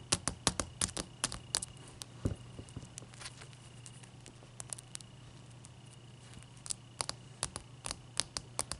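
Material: Ice.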